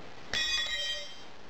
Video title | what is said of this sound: Melting sewing machine scrap | when I drop it onto the concrete floor. It will ring like a bell.